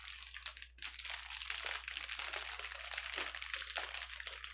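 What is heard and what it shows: A clear plastic bubble wrap sheet on a table is squeezed, lifted and pressed flat with fingers and palms. It gives a dense, continuous crinkling with bright, crunchy texture that barely pauses throughout, with almost no low end.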